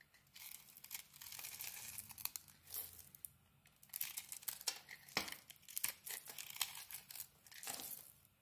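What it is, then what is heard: Soap bar scraped with a blade. A metal blade scrapes across a solid rectangular pink-coated soap bar with a crumbly white interior, shaving off powdery flakes. The sound is a series of dry, bright, crackling scrapes and crumbly tearing bursts, uneven in rhythm, with brief quiet gaps between strokes and almost no low end.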